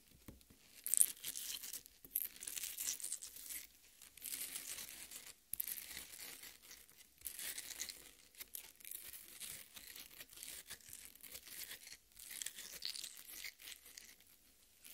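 Long red nails scratch and dig into the wet flesh of a half watermelon resting on a plate. Quiet, bright, wet crackling and tearing scrapes come in repeated bursts with short pauses, with almost no low end.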